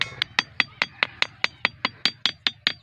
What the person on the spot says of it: The ringing stone amazing natural stone